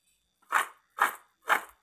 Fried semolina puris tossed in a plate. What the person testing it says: किती कुरकुरीत आवाज येतोय तुम्हाला